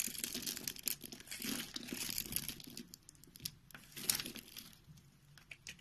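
A palm-sized solid white bar of soap, held in one hand, is scored and shaved with a box-cutter blade into small cubes that crumble off. Many dry, bright scraping and crinkling cuts sound in quick succession, with soft crumbling between them, fading quieter toward the end.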